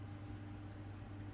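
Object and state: Nothing is struck.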